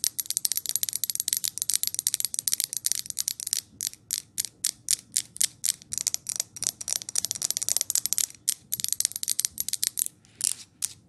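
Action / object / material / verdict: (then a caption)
tap / wax-filled glass jar candle with lid / glass / none. Long nails tap and scratch the lid of a large glass jar candle filled with wax, then hands hold and tap its glass body. The result is a rapid, steady stream of crisp, bright clicks with almost no low end and very little ring after each tap.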